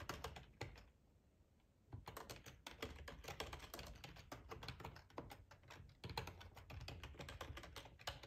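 Fingertips type on the keys of a black plastic ergonomic split keyboard with a hollow housing, resting on a cloth tablecloth. Rapid, dense clicks and clacks with a low hollow thump under each keystroke and a bright edge. A brief pause comes about a second in, then the steady typing resumes.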